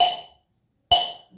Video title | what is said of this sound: धातुओं व अधातुओं के भौतिक गुण कक्षा 8 विज्ञान | आवाज भी तेज आ रही है और टन की आवाज भी आ रही है